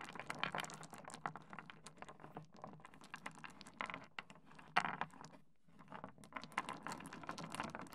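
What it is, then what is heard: Small stone pebbles on a wooden desk. Fingertips of both hands rake, shuffle and tap a layer of small, solid, rounded stone pebbles spread on a wooden desk, knocking them against each other and the wood. A dense stream of quick, dry clicks and rattling patter fills the clip, with brief louder knocks and a short pause just before the six-second mark before the shuffling resumes.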